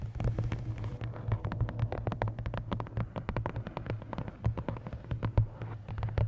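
Long nails tap and scratch along the top edge and card cover of a large paperback coloring book held upright. The result is a rapid, uneven run of short, dry clicks and scrapes over a steady low hum, with most of the sound sitting low and each tap dying away almost at once.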